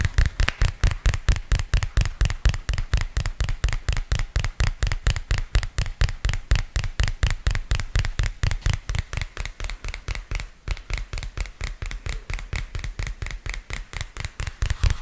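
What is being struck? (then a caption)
Spiral notepad with cardboard cover. A small purple spiral-bound notepad with a cardboard and paper cover is held in both hands close to the mic while fingertips and nails tap and scratch its cover and edge. About 65 quick, dry taps land in a fast, slightly uneven rhythm. Each is a deep, muffled thump with a faint brighter click that dies away almost at once.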